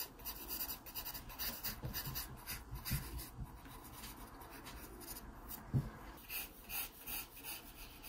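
A wooden pencil scratches short, quick strokes across an open paper sketchbook page, shading the stem area. The dry, raspy scraping comes in uneven bursts with bright, hissy texture over a soft low rumble, and one sharper tap stands out near the end.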